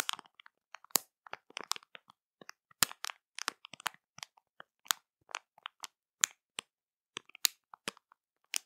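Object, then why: Plastic candy bag filled with sweets. Long matte nails tap, scratch and press a colorful printed plastic candy bag that is full of sweets and puffy. About twenty short, bright crinkles and crackles come from the plastic, with quiet gaps between them and almost no low end.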